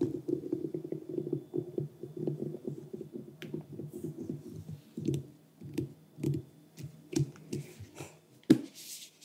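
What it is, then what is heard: Whole pumpkin tapped. Fingertips and nails tap and scratch across the rind of a large, orange, uncarved pumpkin resting on a cork board. A quick run of soft, dull, hollow taps fills the first half. The taps then thin out into spaced knocks, with brief bright scratching and one sharper tap near the end.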